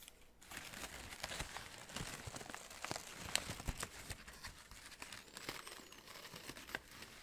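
Fingertips squeeze and crinkle the large red-orange synthetic fabric petals of an artificial orchid spray with green plastic buds, held up close. After a brief quiet start, a steady stream of dry, bright crinkling and rustling runs throughout, with sharp crackling snaps standing out over the texture.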